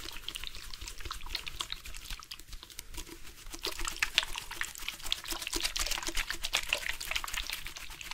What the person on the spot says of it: Water sounds from purposeful shaking of the drink bottle.